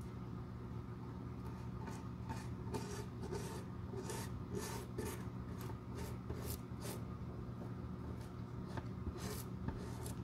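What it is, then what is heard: Leather shoe sole brushed. A metal-handled glue brush sweeps repeatedly across the solid leather outsole of a Boss dress shoe held in the hand. It makes soft, rasping rubbing strokes with bright hissy streaks over a steady low hum.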